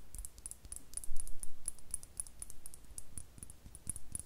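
Long nails tap and scratch a small, hollow, clear glass star-shaped bottle with a cork stopper, apparently empty, in close-up. Quick, irregular clicks and scratches carry high, bright glassy ticks over a low rumble, with no lingering ring.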